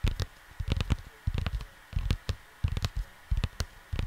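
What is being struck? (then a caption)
Cardboard LP record sleeve. Fingertips of both hands tap on a cardboard LP jacket for a vinyl record, in short, uneven bursts of quick taps. Each tap is a dull, low thud with almost no ring, sometimes with a faint papery click, separated by brief quiet gaps.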